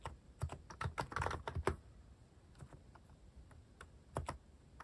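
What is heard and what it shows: Fingertips tap slowly on a mechanical keyboard fitted with plastic cat keycaps. A quick run of dull, thocky key clicks with a bright edge fills the first two seconds, followed by a lull with a few faint taps. A final short pair of sharper taps lands near the end.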